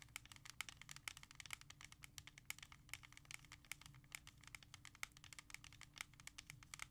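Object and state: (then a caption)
Plastic CD jewel case. A clear plastic jewel case holding an R.E.M. *Out of Time* CD is held and tapped quickly with long nails. The taps are sharp, bright, dry clicks with a light plastic ring near 2.2 kHz, and they stop instantly. Underneath runs a faint, steady low hum, and the whole clip is quiet.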